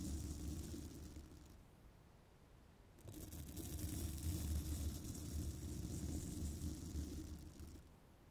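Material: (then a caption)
Metal mesh. A small bristle brush rubs along the top edge of a hollow metal mesh microphone grille, producing a dense, rumbling scratch that is heavy in the low end with a faint bright hiss above. The rubbing is strong at first, eases to a quieter stretch, then swells back up for a long, steady pass before fading at the end.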